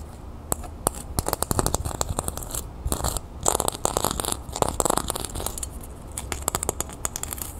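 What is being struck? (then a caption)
Thin copper disc earring. Long nails scratch and tap a small, thin, round copper-toned metal disc earring with a raised scale pattern, held in the hand. Rapid, sharp, bright clicks mix with brief scratchy, rasping bursts over a low, steady background hum, with the taps dying away almost instantly.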